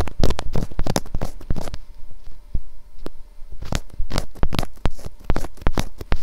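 Long acrylic nails tap quickly with both hands on the sides of a white, hollow, box-shaped plastic SR3D binaural microphone housing. The result is a rapid run of hollow, clip-clop-like knocks, each with a deep low thump and a short bright click. The knocks come in dense bursts with a sparser pause in the middle.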